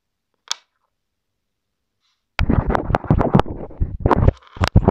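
A small white plastic inline mic remote on a wired earphone cable, taped to a wooden table, is scratched and rubbed by the tip of a hand-held wooden colored pencil. A single faint tick is followed by silence, then dense, irregular scratching and rubbing. The rubbing comes through with a heavy low rumble and occasional sharp, bright scrapes.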